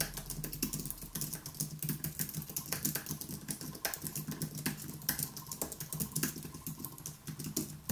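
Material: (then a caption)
Plastic. Both hands tap rapidly with their fingertips on a white Apple Magic Keyboard, with plastic keys in an aluminium body, resting on a wooden desk. A dense, continuous stream of short, bright key clicks plays over a steady low hum, each tap dying away almost instantly.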